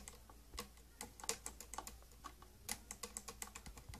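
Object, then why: Plastic case tapped with fingernails. Long green-grey painted nails tap about nineteen times on the domed top and front of a closed, hollow, glossy purple plastic tattoo kit case. The taps are quiet, sharp and clicky, each dying away almost at once in an irregular, keyboard-like patter.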